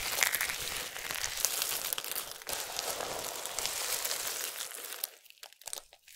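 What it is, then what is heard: Dry soap shavings being crushed. Fingertips with long nails rake through a large pile of small, solid, dry soap strips in pink, yellow, green and white, then both hands scoop up handfuls and crush them. A dense, bright crinkling crunch runs steadily for about five seconds. It then thins into a few quieter, scattered crackles at the end.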